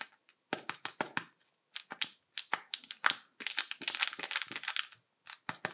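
A small hollow red plastic egg-shaped toy capsule painted with a PJ Masks Owlette face is held in both hands while fingertips and medium-length painted nails grip, rub and tap its shell. It makes rapid, dry, bright clicks and crinkly crackles with no low end, in quick bursts separated by short silences.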